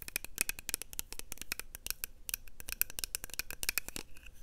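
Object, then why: Small plastic makeup compact. A small, round, hollow pink plastic blush compact is held close to a lapel mic and tapped and scratched with long nails and fingertips. Rapid, crisp clicks and scratchy ticks come in a dense, uneven stream, each sharp and dry with almost no ring.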